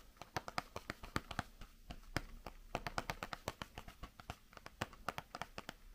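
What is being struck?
Small cardboard candy box tapped with fingernails.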